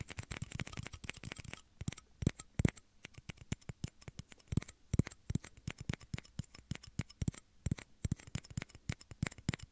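Two small, hollow, empty clear plastic shot glasses are held in both hands near the microphone's ears and tapped and scratched with fingernails. The result is a dense, rapid stream of short, dry clicks and taps with almost no ring, plus fainter scratchy rustling between them.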